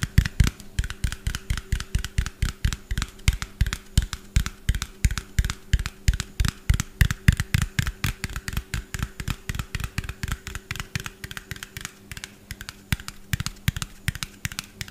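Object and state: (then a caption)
Small plastic bottle, hollow. Fingernails tap fast on a small, hollow white plastic bottle with a yellow cap, held in front of the mic. The rapid, steady taps land as short, dry, low-heavy knocks with a bright clicky edge, each dying away almost at once. A faint steady hum runs underneath throughout.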